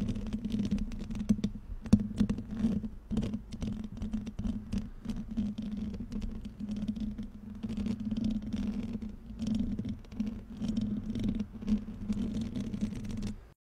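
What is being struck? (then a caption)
Metal mesh microphone grille. Painted nails and fingertips of both hands scratch and rub the hollow metal mesh grille of a black microphone held close. The result is a dense, steady stream of dry scratching, crackling and quick ticks over a constant low hum near 215 Hz, with occasional brighter scrapes.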